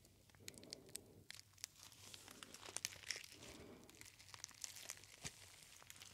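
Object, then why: Metallic foil pouch. A small gold metallic foil pouch with a paper label is held close to the ear and squeezed and crinkled between the fingers. Quiet, bright crackles and sharp, crisp snaps come in uneven bursts over a softer, papery rustle that swells and fades. Each click stops almost instantly.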